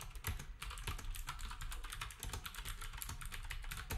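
Fingertips of both hands type steadily on a black, retro typewriter-style plastic keyboard with round plastic keycaps. Each quick keystroke gives a bright, sharp click over a heavier low thump, and the clicks stay short and dry as they run together into a continuous clatter.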